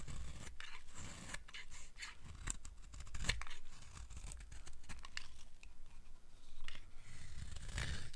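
A steel blade scrapes repeated shavings from the face of a solid, dry black soap bar held in the palm. Each stroke makes a short, dry, bright rasp that sounds crisp and crunchy, over a steady low rumble.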